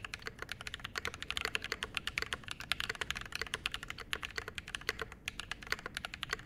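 Continuous fast typing with both hands' fingertips on a Mode SixtyFive 65% mechanical keyboard with a metal case, brass plate, lubed Glorious Panda switches and double-shot ABS keycaps, resting on a desk mat. It makes a dense stream of short, crisp, bright clacks with a light low thock under each keystroke, every press dying away almost instantly.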